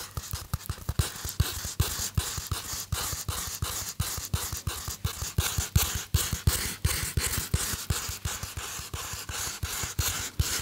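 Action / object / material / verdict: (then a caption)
scrape / polystyrene foam block / polystyrene foam / none. Fingernails of one hand scratch the flat face of a small white styrofoam (polystyrene foam) block held in the other hand. The result is a fast, uneven run of short, dry, squeaky scratching strokes, each with a low, hollow thump underneath and a bright, hissy edge that dies away almost at once.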